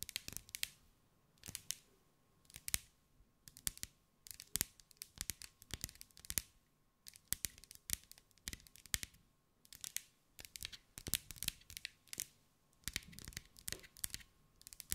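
Long acrylic nails tap and scratch across a hand-held sphere about 15 cm wide, covered in small green glass mosaic pieces. Quick, bright, dry clicks come in clustered bursts with short scratchy strokes, separated by brief quiet pauses, and each tap dies away almost instantly.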